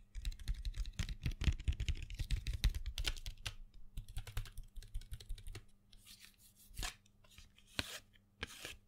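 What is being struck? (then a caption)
Cardboard box of colored pencils. A small printed cardboard box full of colored pencils, held in the hand, is tapped with fingernails in quick, uneven bursts of dry, clicky taps over a low steady hum. After about five and a half seconds the tapping thins out into a few softer, bright scratchy swipes.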